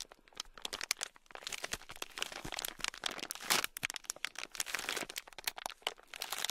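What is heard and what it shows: Fingertips squeeze and knead a small, sealed, clear plastic bag packed full of tiny gold beads. The result is a dense, continuous run of bright crinkling and crunching, with rapid shifting clicks from the beads, quick dry snaps with almost no ring, and little low end. The texture swells into louder bursts around the middle and again near the end.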